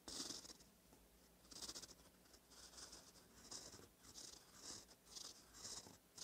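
A gold metal fountain pen nib, held by the fingertips, scratches over a thin cream lined notebook page while writing cursive. Quiet, bright, papery scratching comes in repeated short bursts with each stroke, separated by brief soft pauses.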